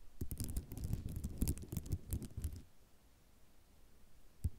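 Long nails tap and scratch across a flat sheet of white ceramic mosaic tiles. A quick, irregular run of dull, low clicking taps with bright scratchy ticks lasts about two and a half seconds, then goes quiet before a single final tap.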